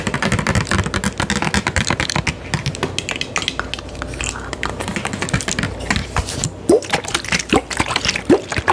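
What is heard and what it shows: A medium clear plastic Fiji water bottle with a blue cap, hollow and filled with water, is held in hand and tapped rapidly with long acrylic nails. The result is a dense, steady stream of crisp, bright clicks with almost no ring, with a few louder knocks near the end.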